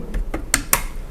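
Light ticking taps on the all-metal body of an airsoft AK-74N rifle by INL, which has real wood handguard and stock. Brief, dry clicks with little ring are heard, with the taps spread across about a second.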